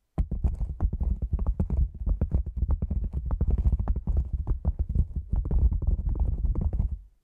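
A black padded nylon lens pouch, cylindrical and hollow, stands upright and is tapped rapidly around its top rim with long nails and fingertips. The result is a steady, dense stream of soft, deep, muffled thuds with faint bright clicks from the nails, each tap dying away almost instantly. The tapping continues for about seven seconds, then fades out.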